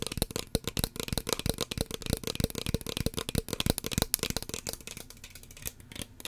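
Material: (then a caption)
Plastic. Long fingernails tap rapidly and irregularly on a small, hollow red plastic spray bottle with a cream/white pump cap, held close to the mic. The taps are sharp, dry clicks with a low hollow thump and bright ticking edges, and no ring after each one. The tapping continues steadily, then grows lighter and quieter toward the end.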